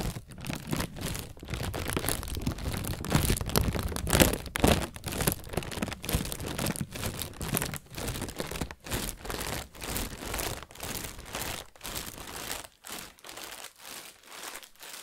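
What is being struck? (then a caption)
Thin plastic bag. An inflated, hollow white plastic bag is squeezed and crinkled by fingers with painted nails. Dense, irregular crinkling and rustling carries a full low-end body and bright crackle. It swells to its loudest in the first few seconds, then settles into softer, pulsing bursts of crinkling that thin out toward the end.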